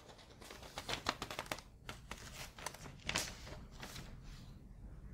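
A folded, printed newsprint insert with coloured pages is held and flipped with fingertips and long nails, making quiet crinkling paper sounds. Sharp, bright crackles and rustles come in quick bursts over a soft, low background hiss.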